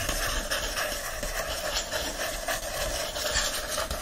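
Fingertips and nails rub and scratch the bright green patterned paper endpapers of an open hardcover book. It makes a steady, dry, papery hiss with a bright, scratchy texture that stays at an even level throughout.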